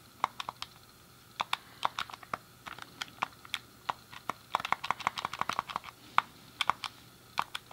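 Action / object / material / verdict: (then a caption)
tap / plastic game controller / plastic / none. A hand-sized, hollow, grey plastic SNES game controller has its face buttons and D-pad clicked by fingertips and a thumb. The result is a quick, irregular run of sharp, dry clicks with a bright, high edge, a tonal center around 1.2 kHz, almost no low end, and no ring after each press. The clicks come in sparse bursts and then a denser flurry midway.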